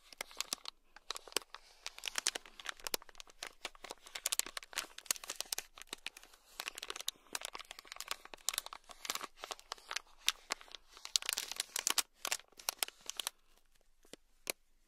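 A thin black stick scratches a small sealed clear plastic bag packed full of tiny red beads. It makes dense, bright crinkling and crunching with rapid sharp clicks that stop dead without ringing. The scratching runs in quick bursts with brief quiet gaps throughout.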